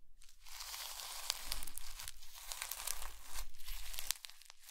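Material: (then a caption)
Slime. A soft, squishy mound of blue slime packed with small white polystyrene foam beads sits on a white ceramic plate. Two hands with medium-length natural nails press and squeeze it with fingertips and palms. This produces a dense, continuous run of bright, crunchy crackles and snaps over a steady low rumble, with the crackling easing near the end.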